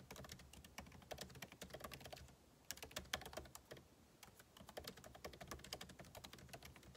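Two hands type fast with their fingertips on the backlit keyboard of a MacBook Pro laptop, whose plastic keycaps sit in a hollow aluminum case. The result is a steady stream of quick, light, bright clicking taps with very short decay, and brief lulls between bursts.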